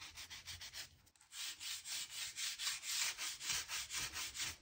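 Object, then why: Oak wooden floorboards. The thin metal-looking tip of a hand-held, blue-handled crevice tool scrapes and scratches along the gaps between solid oak floorboards. It makes a quick run of bright, hissy rasping strokes, with a brief pause before it resumes in a steady back-and-forth rhythm.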